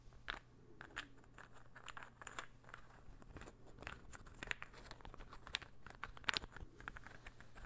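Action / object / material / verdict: tap / small interlocking wooden ball puzzle / wood / none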